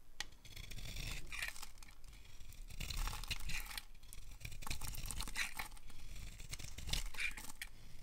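A utility knife blade scrapes and carves a solid, dry, oval dark green bar of soap held in the palm, sending green shavings falling. Repeated dry, raspy scraping strokes come in overlapping bursts with a crisp, tearing, crinkly texture and brief bright edges over a soft low rumble.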